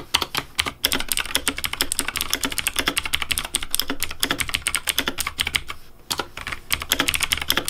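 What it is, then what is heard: Plastic mechanical keyboard. Fast fingertip typing on a pink plastic Razer Deathadder V3 Pink mechanical keyboard with hollow plastic keycaps. It makes a dense run of bright, dry clicks centred around 3 kHz that stop almost instantly, with a brief lull near the six-second mark before the typing picks back up.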